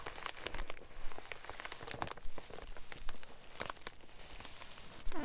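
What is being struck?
Plastic bubble mailer.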